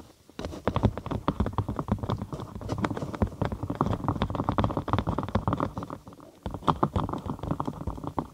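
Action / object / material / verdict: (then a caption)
tap / thin cork sheet / cork / none. A thin cork sheet, curved over a binaural microphone and hollow underneath, is tapped quickly with the long acrylic nails of both hands. The taps are dull, hollow and bassy, with short clicky attacks that blur into a dense, uneven patter. The tapping pauses briefly near the six-second mark, then resumes.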